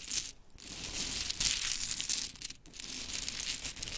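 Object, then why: Small painted wooden mini clothespins. Hands gather a pile of small pink painted wooden mini clothespins on glitter fabric while long chrome nails scratch and rake through them. The result is a dense, bright clatter of light wooden clicks and scratchy rustling, with brief pauses near 0.5 and 2.6 seconds.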